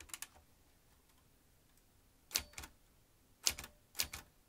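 Fingertips press the keys of a vintage metal manual typewriter, driving its typebars in sharp, bright clacking strokes. The strokes come in short, irregular bursts with quiet pauses between them, and each one dies away almost instantly.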